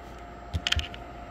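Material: Fruit rind.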